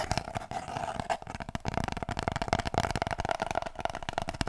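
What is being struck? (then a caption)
Cardboard kitchen roll tube. Fingers rub and scratch an empty, hollow cardboard kitchen roll tube. The result is a rapid, uneven stream of dry, papery scratches and soft taps with a hollow midrange resonance and almost no ring after each stroke.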